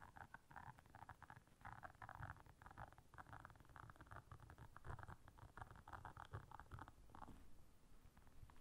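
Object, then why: Silicone bristle scrubber pad. Long nails quickly scratch and tap the bristles of a round blue silicone bristle scrubber pad. The result is a quiet, dense stream of soft, muffled rustling and tapping, with rapid bursts of mid-range scratching over a low, rumbly undertone that fades slightly near the end.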